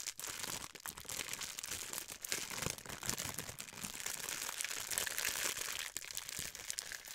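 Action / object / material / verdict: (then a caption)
scrape / thin clear plastic wrapper / plastic / none. A small piece of clear plastic wrapper is pinched and crumpled between fingertips with long white nails. It makes a steady, dense, bright crinkling and crackling that runs throughout, with little low end and a few brief dips in loudness.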